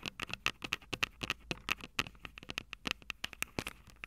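Long purple nails tap and scratch the small metal microphone capsules of an upright Tascam DR-05 recorder from above. A rapid, irregular run of about 25 sharp, dry taps with faint scratching between them, each with a bright metallic ping around 2.6 kHz that dies away almost instantly, over very little low end.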